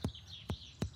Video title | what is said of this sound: Year Of The Ox, Best Of Bovine - Compilation - Bondi Vet | a very tinny sound which basically sounds like a bag